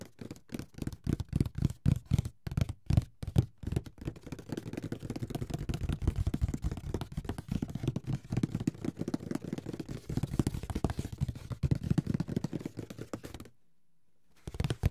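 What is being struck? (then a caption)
Closed cardboard board game box. Fingertips and nails tap the lid of a closed, hollow, large grey paper-covered cardboard Monopoly box held in the hands. Spaced, soft, hollow low thuds give way to fast, continuous drumming that stops briefly near the end before a few more taps.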